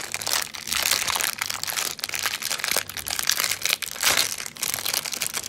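A small yellow 45 g M&M's Peanut snack pack of thin plastic foil, full of candy, is held in both hands and crinkled with the fingertips. It is turned over, then its top edge is pinched and torn open. The result is a continuous bright, crackling rustle in dense bursts, with almost no low end.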